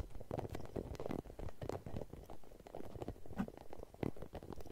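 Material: Rubber.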